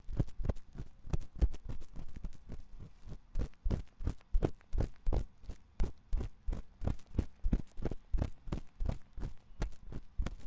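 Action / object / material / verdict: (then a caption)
scrape / silicone ear of a binaural microphone scratched with a metal pick / silicone / none. A thin metal ear pick scratches inside the ear canal of a white silicone ear on a 3Dio binaural microphone. It makes a rapid, uneven run of short, muffled rubbing and scraping strokes, heavy in low rumble, each dying away almost instantly.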